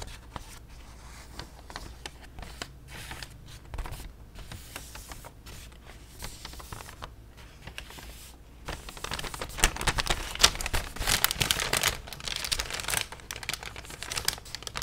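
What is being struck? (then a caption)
Thin plastic shopping bag. A white, thin plastic Harley-Davidson shopping bag is held up and crinkled and tapped with long nails and fingertips. Quiet, bright, irregular crinkles and tapping clicks over a low steady hum get louder and denser in the second half as the bag is handled more vigorously.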